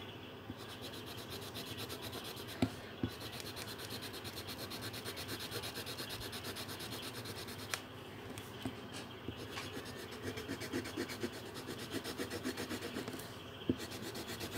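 A pink felt-tip marker held in the hand is rubbed over a thin paper colouring sheet on a table in continuous colouring strokes. The result is a steady, soft rubbing and scratching with a bright, papery hiss from rapid back-and-forth strokes. A few sharper little ticks stand out now and then.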